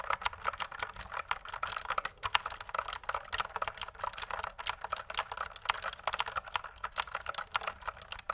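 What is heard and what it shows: A pink plastic mechanical computer keyboard with a cable and a hollow body, raised close, is typed on with long nails and fingertips. Rapid, uneven key presses make a steady stream of sharp, bright, clattering clicks with a hollow plastic rattle and almost no low end. Each click dies away almost instantly.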